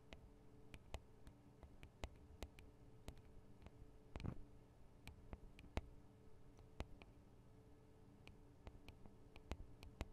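Long acrylic nails tap and scratch on the metal and plastic microphone capsules of a Tascam DR-40 handheld recorder, with fingers held close around the capsules. Sharp, quiet, short clicks and ticks come through over a low, steady hum, with a brief soft scratching burst in the middle.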